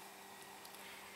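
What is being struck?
Nothing is struck.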